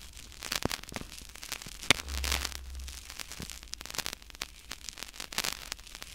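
Two identical small, solid white-and-black soccer-pattern foam/PU stress balls are held in both hands beside the mic and squeezed and scratched with fingertips and thumbs. The sound is a dense run of bright, dry crackles and scratchy rustles with no ring. A brief low, soft rumble swells around the two-second mark.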